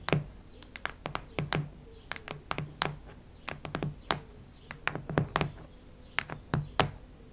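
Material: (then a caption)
Cardboard. Long red nails scratch and tap across a solid cactus-print hardcover notebook, making a quick, irregular series of crisp, dry clicks and scrapes. Each one has a bright edge over a soft low thump and dies away almost at once, with short quiet gaps between the clusters.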